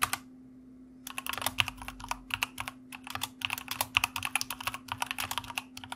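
Fingertips of both hands type quickly on a white plastic mechanical keyboard with backlit keycaps. After a short click and a pause of about a second, a fast, steady run of bright, clacky keystrokes follows, each one sharp and short. A faint low hum continues underneath throughout.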